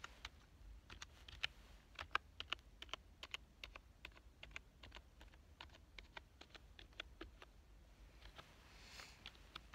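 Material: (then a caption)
Plastic. Fingertips type on a black plastic full-size keyboard with a hollow body, lying on a couch. Quick, uneven key clicks sound bright and dry, each one short with almost no ring, over a low background hum.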